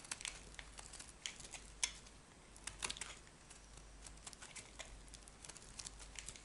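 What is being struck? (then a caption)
Bar of soap scraped by a metal blade. A metal knife blade scrapes and shaves small flakes from a solid, oval, dry black soap bar with white stripes, held in the hand. A quiet run of bright, crisp crinkling scrapes and ticks is heard, with a few sharper snaps standing out, over a low, steady background.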